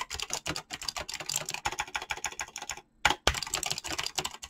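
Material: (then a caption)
Plastic. Fingertips type fast on a mechanical keyboard with clicky switches and PBT plastic keycaps, making a rapid run of bright, crisp clacks that stop almost instantly. Near the three-second mark the typing pauses briefly, then resumes with two louder, sharper key strikes before the fast typing continues to the end.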